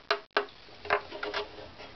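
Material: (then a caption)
Wood. A wooden violin back plate is tapped five times as the reference tap tone, 242, which the other parts should match. Each tap is a short, dry knock with a clear tone around 400 Hz that dies away almost at once.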